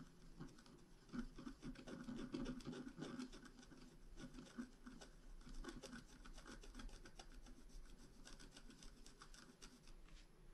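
A pointed wooden stylus scratches small strokes into the flowers on a flat, black-coated scratch art card about A4 in size, lying on a table and held by one hand. Quick, irregular dry scratching and rubbing strokes run for about ten seconds, with a soft, low-mid rasp and short, fast-fading strokes.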